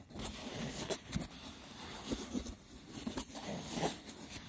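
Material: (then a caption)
Wicker. Fingertips with short nails rough-scratch and tap the braided top of a small, hollow, rectangular woven wicker box with a lid. Dry, rustling scratches run throughout, broken by a few sharper taps that die away quickly.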